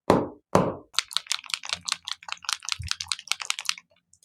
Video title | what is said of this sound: Understanding Interference Ink Pads - Cloud 9 Inks from Lisa Horton Crafts | bang them on the desk because the amount amount of mic in the bottom hold to the ball bearing so you can tap it